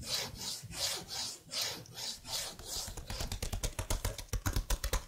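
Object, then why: Plastic laptop keyboard keys. Fingers with blue-painted nails rub and scratch across the keycaps of a detached plastic laptop keyboard held beside the mic. First come slow, breathy rasping swells with a bright hiss, then a quicker run of sharp, dry scratches and clicks that stop almost at once.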